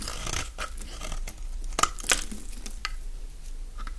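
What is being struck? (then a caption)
Bar of soap scraped with a knife blade. A solid green bar of dry soap is held in the hand while a utility-knife blade scrapes curls off its long edge. The scraping gives a string of short, dry, crisp crunches with bright high edges, two of them sharper and louder than the rest. A soft low hum runs underneath.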